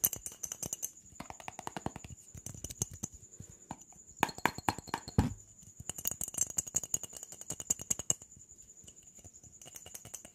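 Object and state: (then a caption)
Empty plastic jar tapped quickly. A mid-sized, hollow, clear jar that appears to be plastic (though it could be glass), with an orange screw lid and seemingly empty, is held in both hands and quickly tapped and rattled with fingertips and nails. The result is a rapid, dense stream of bright, crisp clicks and taps that cut off almost instantly, with a few louder knocks in the middle, over a steady high-pitched tone.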